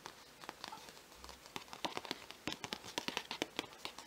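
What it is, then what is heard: Folded paper map being crinkled. A thin, folded parchment-style paper Marauder's Map replica insert from a book is held in both hands and crinkled and rubbed with the fingertips, then laid on the open book page while still being handled. Quiet, dry, bright crackles and rustles come as a run of short, sharp bursts that grow denser and louder toward the end, each dying away almost at once.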